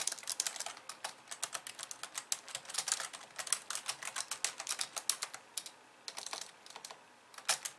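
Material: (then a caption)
Plastic. Fast typing with long nails and fingertips of both hands on a pink plastic computer keyboard with white keys resting on a desk. About 45 crisp, bright plastic clicks and clacks come in quick irregular bursts, each dying away almost instantly with almost no low end. Brief pauses fall near the six- and seven-second marks before a last flurry.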